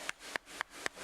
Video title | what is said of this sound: London's Living River - Thames Through Time | one makes a hollow sound when you knock it against another oyster like that it means that there's something wrong with it